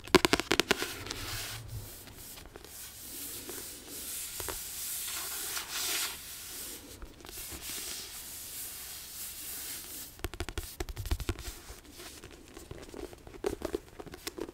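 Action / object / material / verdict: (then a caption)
tap / paperback book with card cover / card / none. Long nails tap on the solid card back cover of a Philosopher's Stone paperback book, giving sharp clicky taps in bursts at the start and again near the end. In between comes a steadier, brighter rubbing or brushing sound. The taps are dry, with almost no ring.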